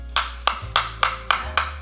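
An imitation (OEM/knockoff) iPhone charger's plastic casing is tapped six times, each tap a short, dry click with a hollow, not-tight sound. The hollowness marks soft, low-quality plastic, unlike an original charger.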